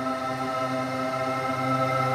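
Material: Nothing is struck.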